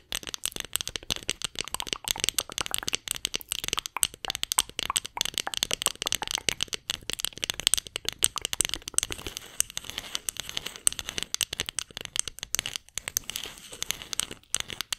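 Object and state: Wooden spoon.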